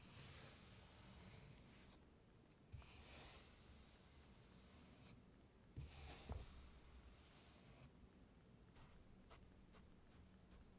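A thin, flat wooden stick held in the fingertips is dragged through a flat, solid, tray-filled layer of dry-looking, crumbly blue kinetic sand, drawing grooves and scratch lines. Soft, bright, hissing scrapes come in strokes separated by brief quieter pauses, with a few sharper scratches along the way and a low rumble underneath.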